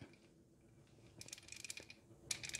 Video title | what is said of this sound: Mustang Idle Speed Easy Inspections (99-04 V6) | if it rattles it should be good